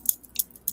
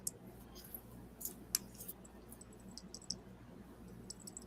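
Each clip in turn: First: Three quick, bright clicks with almost no ring as a metal watch band is shaken; it sounds solid rather than tinny. Second: Light, high, tinny clicks as a metal watch band rattles, marking it as a cheap fake.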